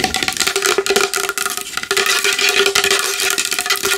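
A large wooden bowl is tapped fast and hard with long nails, producing a dense, continuous stream of sharp, bright clicks. The taps decay almost instantly, with a faint steady tone near 400 Hz under a bright body of sound centered around 2.5 kHz and almost nothing in the low bass.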